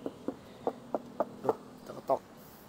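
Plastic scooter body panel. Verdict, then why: Solid. Knuckle knocks on the plastic body panel of a U-Winfly N9 electric scooter, shown as sturdy, give seven short, dull, hollow taps. Each tap is midrange and dies away almost at once, with no ring or rattle.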